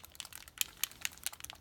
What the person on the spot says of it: when you shake it can you hear that it has those shaker beads in it and it moves just like ink